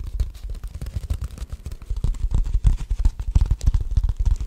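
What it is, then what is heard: Beeswax food wrap. A purple beeswax-coated cloth food wrap is held in both hands while fingers rub, crinkle and fold it. The result is a rapid, irregular stream of soft, close crinkling and muffled thumps, heavy in the low end with a faint bright rustle above.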